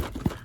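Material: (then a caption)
Cardboard. A sealed cardboard Pokémon theme deck box is shaken, giving a soft knock followed by a louder, dull low thud. The thud comes from everything being wrapped together in one compartment, which marks the deck as either unlimited or the Diglett error deck.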